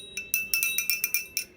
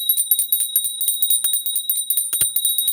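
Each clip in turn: First: A small metal hand bell rung quickly, giving bright high clangs with steady overtones near 2.4 kHz. Second: Rapid clapper strikes on a small brass hand bell give a thin, high jangle; its tone has changed since it was dropped.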